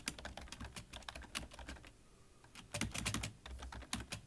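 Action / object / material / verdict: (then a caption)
tap / plastic computer keyboard / plastic / none. Fingertips of both hands type continuously on a full-size black plastic computer keyboard with a hollow body, giving a rapid stream of sharp, bright key taps over a low thump. The typing briefly thins out near the middle before picking back up in quick bursts.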